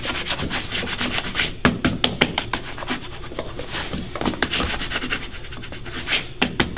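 Fingertips rub polish over the toe and vamp of a black leather dress shoe, worn on a foot and resting on a wooden stand. Steady, bright scratchy rubbing is heard, broken by short, sharp squeaks and taps that die away almost instantly.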